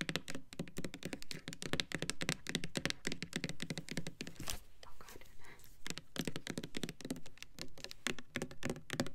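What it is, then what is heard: Plastic foaming hand soap bottle. Long nails tap rapidly on the sides and pump top of a hand-sized Bath and Body Works Winter Candy Apple foaming hand soap bottle, made of clear plastic and filled with red liquid. The dense, quick clicks and thunks pause briefly for a softer, hissing scratch near the middle before the tapping resumes.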